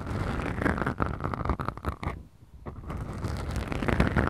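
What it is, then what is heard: Foam microphone windscreens being scratched. Fingertips and nails of both hands scratch and squeeze two small black foam windscreens on a Tascam recorder. The result is a dense, muffled, low rumbling scratch with a soft crackly texture and little high end. It fades to a brief quiet dip midway before the scratching builds back up.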